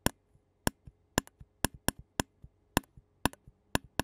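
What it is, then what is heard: Metal mesh microphone grille tapped with a plastic spoon. A clear disposable plastic spoon taps and scrapes the black metal mesh grille of a handheld Zoom recorder held on a yellow surface. About ten sharp, dry clicks with a bright crack stand out, with softer low taps between them. Each hit stops at once with no ring.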